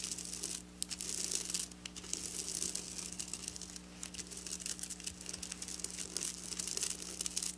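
Long black nails scratch across the rows of a flat silver sequin fabric. The result is a bright, crinkly, rustling scratch in uneven bursts, with brief pauses between strokes over a faint steady low hum.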